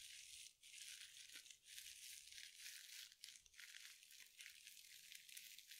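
A small, hand-sized soft sponge wrapped in sparkly synthetic glitter mesh is squeezed and scratched with long nails and fingertips close to the mic. The result is a dense, continuous, bright crinkling and rattling with almost no low end, broken only by a few brief dips in loudness.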